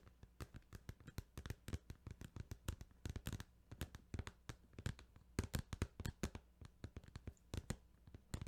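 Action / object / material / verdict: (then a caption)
tap / plastic video game case / plastic / none. Fingers tap rapidly on a plastic Final Fantasy 8 video game case, producing dozens of short, dry, clicky taps in an uneven rhythm. Each tap dies away almost instantly over a faint, steady low hum.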